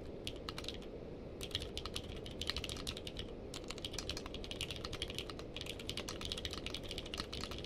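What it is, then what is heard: Mechanical keyboard with plastic keycaps. Fingertips from both hands type on a full-size mechanical keyboard in a navy and purple case, fitted with white and purple plastic keycaps and lying on a blanket. Short, bright clicks arrive in quick bursts with brief pauses, each tap dying away almost instantly over a steady low rumble.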